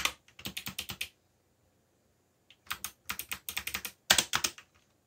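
Fingertips type on a backlit mechanical computer keyboard with black plastic keycaps, producing 21 sharp, bright keystroke clicks. They come in three quick bursts separated by pauses, each tap dying away almost instantly.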